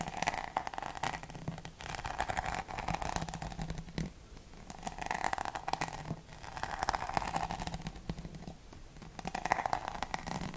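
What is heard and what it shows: Long nails tap and scratch across a rhinestone-studded back and the bristle side of a hollow plastic paddle hairbrush held close. The result is a dense stream of quick, dry clicks and scrapes with a hollow mid-range tone. It comes in bursts that swell and fade, with brief quieter pauses in between.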